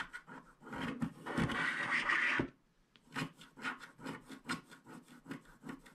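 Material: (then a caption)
Coated paper. A wooden stylus scratches the black coating off a flat black-coated paper scratch card held in one hand, leaving black flakes. A long, dense rasping scrape builds and holds, then stops for a brief silence. Quick, short scratching strokes follow in an uneven rhythm.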